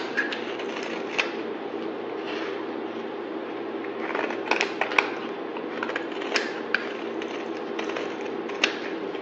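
A palm-sized, rectangular solid bar of white soap is held in the hand and shaved along its edge with the metal blade of a yellow-handled utility knife, producing white flakes. The result is a steady, dry scraping hiss broken by sharp, bright crackles and snaps as the blade catches and chips the soap.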